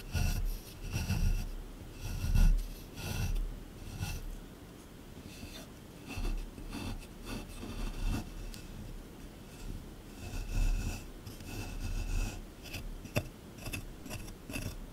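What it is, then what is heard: Plaster dig block being scraped. A small metal scraper chisels and scrapes at the surface of a solid plaster dig block from a dinosaur excavation kit. Irregular bursts of dull, low rasping and grinding rise and fall, with occasional bright scratchy ticks between quieter stretches.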